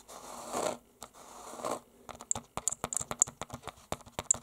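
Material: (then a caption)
Canvas. A closed book wrapped in a small, solid red painted canvas cover is scratched and then tapped by short-nailed fingertips wearing metal rings. Two long, hissing scratches are followed by a quick, irregular run of dry, bright taps, some with high metallic clicks from the rings.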